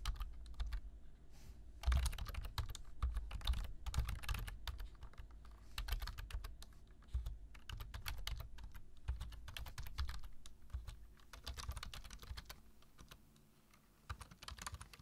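Fingertips of both hands type continuously on the keys of a black plastic computer keyboard. The result is a dense stream of quick clicks and taps with a low thump under the keystrokes, pausing briefly before fading near the end.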